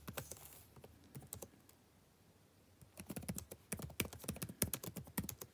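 Fingertips tap the plastic keys of a backlit laptop keyboard in quick, uneven bursts of light clicks. A short burst of typing trails off into a near-silent pause of about a second, then a denser, louder run of crisp taps follows to the end.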